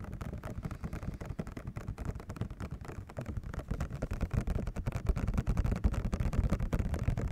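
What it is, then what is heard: Cardboard and plastic controller box. A hand-sized Rock Candy Nintendo Switch controller retail box, printed cardboard with a clear plastic window and hollow with the controller inside, is held in one hand and tapped on the front with fingertips and nails. The rapid, uneven taps sound dull and low with almost no ring, and they grow somewhat louder in the second half.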